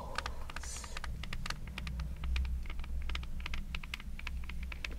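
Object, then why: Braided jute rope soles of espadrilles. Long red nails scratch the coiled, braided jute rope soles of a pair of espadrilles held together, making a rapid run of dry, crisp, bright scratchy ticks. A steady low hum sits underneath the whole time.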